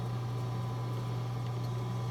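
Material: Nothing is struck.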